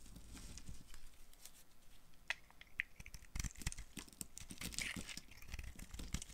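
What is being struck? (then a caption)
Bar of soap. A dry, solid pink-and-white marbled bar of soap held in the hand is carved with a utility knife blade. Short, crisp scraping and crumbling sounds come in quick irregular bursts, with sharp bright clicks over a soft low rumble.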